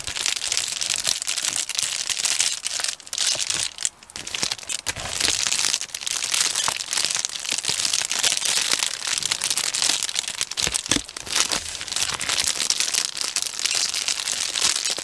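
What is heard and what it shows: A medium, hollow Amazon Prime poly bubble mailer is handled and crinkled with the fingertips along its edge and face. Dense, bright plastic crinkling and crackling runs almost continuously, with a brief lull near the four-second mark and almost no low end.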